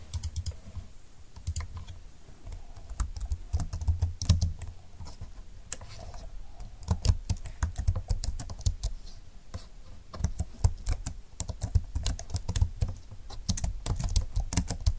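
Fingertips with long nails type with both hands on a full-size plastic scissor-key keyboard with a silver plastic frame and dark flat keys. The hollow plastic body gives a dense stream of short, dry clicks and taps with a low, muffled thump beneath them. The keystrokes come in quick bursts with brief pauses, and each hit dies away almost instantly.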